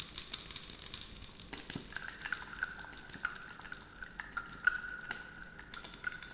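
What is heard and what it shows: Long acrylic nails tap and scratch along the body of a clear 100 ml plastic scented water bottle with a pump cap, filled with pink liquid. Quick, dense clicks and scrapes run throughout, joined midway by a steady mid-high whistling tone.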